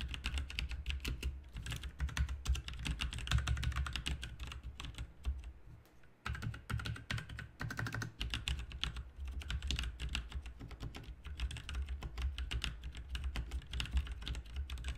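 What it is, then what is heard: Plastic mechanical keyboard being typed on. Both hands type with their fingertips on a backlit RGB mechanical keyboard with plastic keycaps. The result is a steady stream of rapid, short clicks and clacks with a deep low thump under them, pausing briefly around the six-second mark before the typing resumes.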